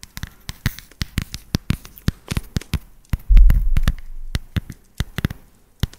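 A solid dark chocolate bar is held upright and tapped on its flat back with long nails, giving quick, dry, irregular taps with a dull low thud and very short ring. Midway, a louder low rumbling stretch lasts for under a second before the separate taps resume.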